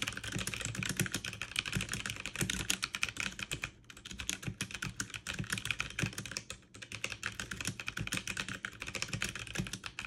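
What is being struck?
Mechanical keyboard with plastic keycaps.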